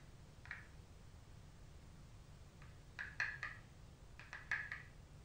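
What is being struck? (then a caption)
Cardboard makeup palette. Long pointed nails tap quickly on the metallic gold cover of a flat, rigid cardboard makeup palette, an Anastasia Glow Kit in Sun Dipped, held in both hands. About eight short, dry clicks centred near 1.7 kHz come in loose clusters over a low, steady background hum, each dying away almost at once.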